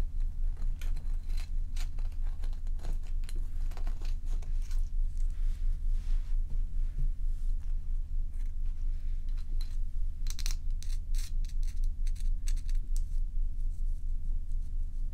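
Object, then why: Large bowl-shaped block of ice. Long nails tap and scratch the clear underside of a large, solid, bowl-shaped ice block that is held and tilted by hand. Quick, fairly regular crisp ticks and bright scraping crackles ride over a steady low rumble throughout.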